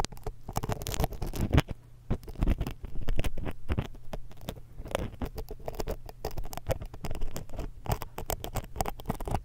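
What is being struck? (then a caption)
Metal mesh microphone grille scraped with a thin metal pick. A thin metal dental pick, held in long-nailed fingers, scrapes and pokes the metal mesh capsules of a small hollow X-Y stereo microphone. The result is a dense, close stream of crackly scratches, quick ticks and soft muffled thumps that are heavy in the low end, rising and falling in bursts with no ringing.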